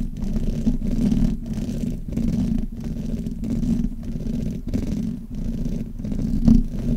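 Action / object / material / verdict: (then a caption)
scrape / metal mesh microphone grille / metal mesh / none. Fingers and long nails rub and scratch the hollow metal mesh grille of a black Blue Yeti microphone from both sides. The result is a steady, low, rumbling scrape centered near 200 Hz, with almost nothing bright above it. Brief dips break it into repeated rhythmic strokes.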